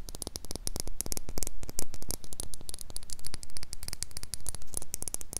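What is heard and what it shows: Long pink acrylic nails tap and scratch the sides of a small, empty clear glass jar with a silver metal screw lid, held in both hands close to the mic. A rapid, dense run of sharp clicks and bright ticks rides over a steady low hum and faint static, with each tap cutting off almost instantly.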